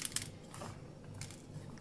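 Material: Bread crust.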